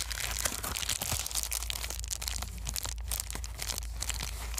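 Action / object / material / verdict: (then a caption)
scrape / plastic bubble wrap sheet / plastic / none. A small white foam plastic bubble-wrap sheet is handled, unfolded and crumpled with the fingers. It makes a dense run of bright crinkling and crackling with sharp snaps, over a steady low hum throughout.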